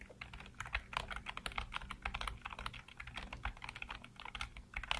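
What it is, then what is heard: Plastic computer keyboard being typed on. Fingertips type rapidly on the keys of a black plastic backlit computer keyboard. A dense, steady stream of short, bright clicks comes with a soft low thud beneath each keystroke.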